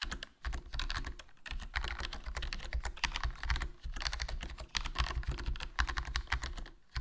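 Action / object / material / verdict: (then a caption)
tap / plastic membrane keyboard / plastic / none. A HyperX Alloy Core RGB plastic membrane gaming keyboard with a foam mod, black plastic body, black plastic keycaps and a hollow case is typed on continuously with fingertips. The key presses are dense, soft clatter with a strong low thump under bright, clicky tops. The typing runs without stopping, broken only by brief pauses.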